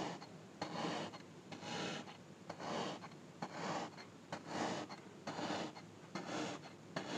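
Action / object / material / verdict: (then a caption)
scrape / packed kinetic sand cube / kinetic sand / none. Orange kinetic sand packed into a small palm-sized solid cube on a grey surface is repeatedly poked on top with a thin, dark pointed tool, leaving small holes. Each poke gives a soft, grainy, rasping crunch that swells and fades, repeating roughly once a second in an uneven rhythm over a quiet background.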